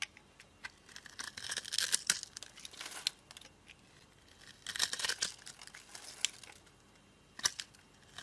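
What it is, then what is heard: Glycerin soap bar being scraped. A solid, translucent yellow glycerin soap bar, held in a palm with long dark nails, has its surface scored and scraped with a metal blade, breaking off crumbly crystals. Bright, dry, crackly scraping comes in uneven bursts, with the densest flurries near the start, middle and a sharp stroke toward the end, separated by quiet gaps. There is almost no low end, only crisp high scratching and crumbling.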